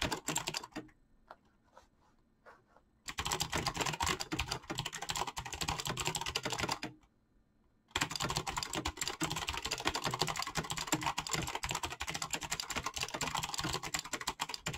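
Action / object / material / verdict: tap / mechanical keyboard with PBT plastic keycaps / plastic / none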